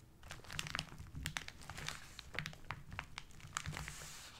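Fingertips and short nails of both hands rub and crumple the brown kraft paper wrapping on a rectangular parcel. The result is a steady stream of dry, bright crinkles and sharp little crackles over a soft low rustle, each snap dying away almost instantly.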